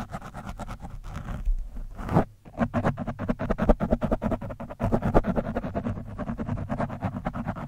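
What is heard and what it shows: A thin metal screwdriver scrapes rapidly back and forth across an orange foam windscreen on a microphone. Dense, scratchy strokes come one after another with a heavy low-end rumble, pausing briefly just after two seconds before continuing steadily to the end.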